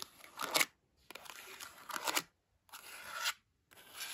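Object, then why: Cloth-bound hardcover book spines. Long almond-shaped acrylic nails scratch and tap along the spines of a row of dark green cloth-bound hardcover books from the same series, standing upright and tightly packed on a shelf. Four bright, dry bursts of fast scratching, separated by short silences, rise and fall in loudness, with rasping texture concentrated in the high frequencies.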